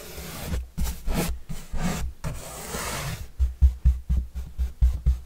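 A large, flat, white corrugated cardboard pizza box with green edges, hollow and held upright, is brushed with paintbrushes, first a dark bristle brush and then a yellow bristle brush. Soft, dry bristle swishes and rubs sweep across the surface, with a deep, hollow low-end resonance from the box. Longer strokes give way to a quicker run of short, rhythmic brushing strokes.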